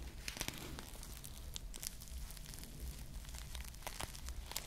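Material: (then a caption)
Foam. Long nails scratch and squeeze a small, soft foam squishy ice cream bar with glued plastic bead sprinkles right beside the mic. The result is a steady, close crinkling and crackling with bright, sharp ticks from the beads over a low, dull rumble.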